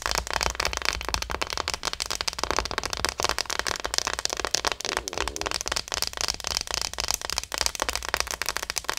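Long nails tap and scratch the back and head of a small, likely hollow plastic acupuncture model doll. Rapid, crisp clicks blend with dry scratching into a dense, bright crackle that carries on steadily without letting up.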